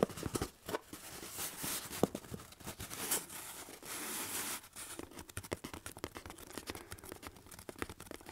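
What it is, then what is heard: Cardboard box. Fingertips and nails scratch and tap the side of a hollow, medium corrugated cardboard box held overhead. Quiet, dry scratching comes in bright, hissy swells, broken up by quick, short tapping clicks with almost no ring.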